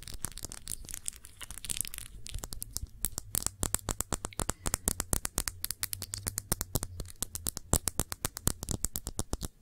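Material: Glass.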